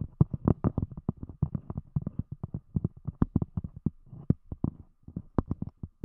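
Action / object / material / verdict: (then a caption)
tap / thick cork disc over a microphone / cork / none. Long fingernails of both hands tap on a round, thick, solid cork disc covering a microphone. A rapid, uneven run of dozens of dull, low knocks, each dying almost instantly with no ring.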